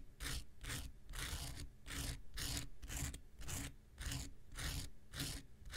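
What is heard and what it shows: An X-Acto knife is scratched across a small, solid, rectangular pink foam nail buffer block with an abrasive surface. It makes a steady run of bright, raspy scraping strokes at roughly two per second, each a hissing burst over a low rumble.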